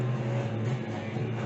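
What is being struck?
Nothing is struck.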